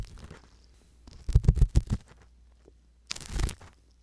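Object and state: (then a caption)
Silicone ear of binaural microphone. A wooden-handled metal ear pick scratches slowly inside the canal of a soft silicone ear mounted on a hollow white binaural microphone body. It makes a close, low, rumbling scrape. A cluster of quick scratchy strokes comes around the middle, then a brighter, hissier scrape near the end, all over a faint low hum.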